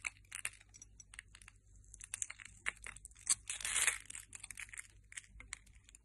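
A metal blade scrapes small cubes off the scored surface of a hand-sized, solid, translucent yellow soap bar held in the hand. It makes a quiet, close run of bright, crisp crackles and crunchy ticks, with a longer, louder scrape near the middle and almost no low end.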